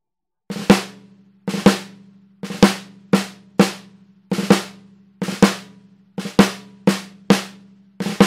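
A hollow MAPEX 14x5 maple-shell snare drum with an orange wood finish and a white coated head is struck on the head with a wooden drumstick. Sharp snare cracks come in a loose, uneven pattern, many led by quick grace strokes or short rolls. Each hit carries a brief tonal ring around 195 Hz that fades within a fraction of a second.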